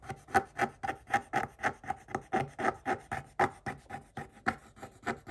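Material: Coated paper.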